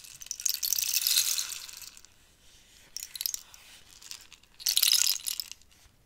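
A long, hollow cactus-wood rainstick is tilted and turned by hand, and the filling inside trickles and rattles in bright, high, crisp patter. It comes in three separate pours: a long swell that fades after about two seconds, a short burst, then another strong rush before trailing off.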